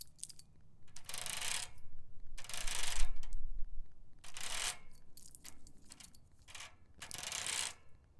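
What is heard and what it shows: A bicycle basket is tapped and scratched with a nail worn on a finger, giving bursts of bright, hissing scrapes mixed with light, short clicks and a low rumble underneath.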